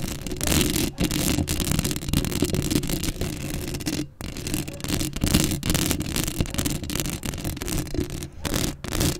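Long acrylic nails scratch across a black metal mesh microphone grille at close range, making a dense, continuous rasping scrape with a heavy low rumble under bright, gritty texture. The scratching runs almost without pause, dipping briefly to near silence at a few points before resuming.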